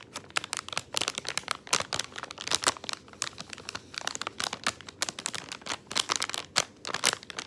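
Fingertips press and crumple the film of a crinkly plastic candy bag with gumballs inside, resting on a wooden table. A dense run of sharp, bright crinkles and crackles comes in quick irregular bursts, with almost no low end and no ring after each crackle.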